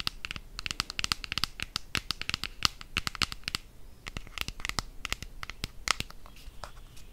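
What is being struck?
Plastic deodorant stick container.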